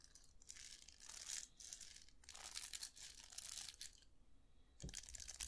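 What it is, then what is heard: Round hair brush with plastic bristles on a metal barrel. Fingers scratch and flick the plastic bristles of a round hair brush with a hollow metal barrel, held up in both hands. Bursts of bright, dry, crinkly scratching swell and fade, carried mostly in the high frequencies, with a brief low thump near the end.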